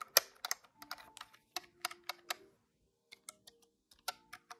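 Fingertips press the plastic keys of a large, hollow, grey-white plastic desktop calculator. Quick, bright, clacky key clicks come in irregular bursts, each dying away almost at once. A short pause follows before a few more presses.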